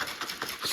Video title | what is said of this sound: Grenade Hydra 6 Protein Chocolate Charge Flavor Review - JS Fitness | you can hear them chocolate pieces hitting the top